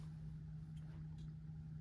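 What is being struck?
Nothing is struck.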